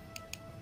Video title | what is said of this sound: ANG BATO KINAKALAWANG BAKAL NA BATO | iba yung tunog niya sa bakal